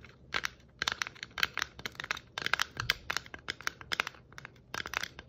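Long nails scratch and tap a hollow plastic Christmas ornament ball with red and white glitter stripes, held close. The result is a quick run of bright, dry clicks and crinkly scratches that stop almost instantly, with very little low end.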